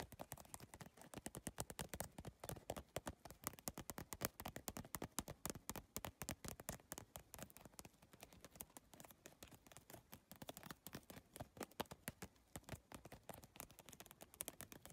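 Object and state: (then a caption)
Plastic tile bag tapped with fingernails. Long nails tap fast on the iridescent plastic tiles of a holographic geometric PVC tile bag. A dense, steady stream of short, sharp clicks runs throughout, each one dry and bright with almost no ring, at a quiet close-up level.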